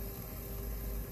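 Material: Nothing is struck.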